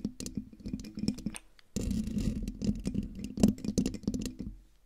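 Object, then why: Metal mesh microphone grille. Long dark nails on both hands quickly scratch the hollow metal mesh grille of a silver condenser microphone. The close, dry scratching and tapping has a low hum near 200 Hz. A brief silent gap is followed by a denser burst of raspy scraping.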